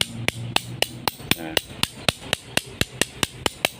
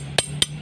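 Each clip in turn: First: About sixteen sharp metal clacks on a machete blade, each dying instantly with no ring: dull, low-grade iron plate. Second: Two bright metallic strikes with a clear high ring mark a machete blade of genuine spring steel.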